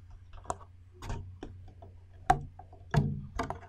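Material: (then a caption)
Glass. Long red nails tap fast on a hollow, empty clear glass bowl held in both hands. The taps come as short, irregular clicks with a brief glassy ring around 720 Hz and bright edges. A steady low hum sits underneath.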